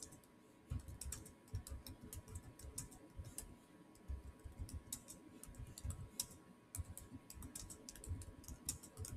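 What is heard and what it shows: Fingertips type fast on the solid keys of a silver Samsung laptop's black plastic chiclet keyboard. The result is a rapid, uneven stream of short clicks, each a soft low thud with a bright tick on top that dies away almost instantly. A faint steady tone near 1 kHz sits underneath throughout.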